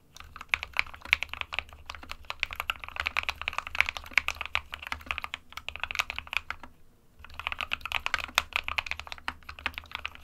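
Fingertips of both hands type continuously on a small 60% SK61 mechanical keyboard with a white plastic case and plastic keycaps, resting on a desk mat. Dense, bright, clacky keystrokes patter steadily, with a short pause near the seven-second mark before the typing resumes. A faint low hum sits underneath.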